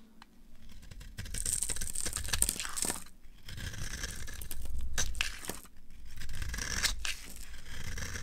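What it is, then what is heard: Dry bar soap being carved. A green-handled utility knife carves and scrapes the corner of a solid, dry, red rectangular bar of soap held in the hand. Dry, crumbly scraping and tearing strokes come in uneven bursts, with a bright, hissy edge over a soft low rumble.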